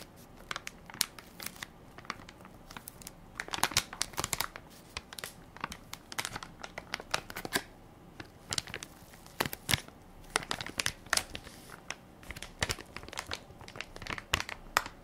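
A full soft plastic-film baby wipes pack with a plastic lid is held in one hand while fingertips and nails crinkle and scratch the film top. Dense, bright crinkling and scratchy rustles come in quick sharp bursts with very little low end, dying away almost instantly. The activity swells and eases in clusters throughout.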